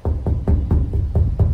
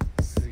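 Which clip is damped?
The second.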